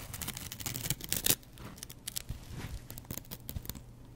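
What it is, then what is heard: Kitchen sponge with scouring pad, scratched. A double-edge razor blade scratches across the green abrasive scouring side and the yellow foam of a kitchen sponge. It makes quiet, dry, bright rasping and crackling strokes with a soft low rumble beneath. The loudest scrape comes just past one second, and the rest continues as a steady run of short scratches.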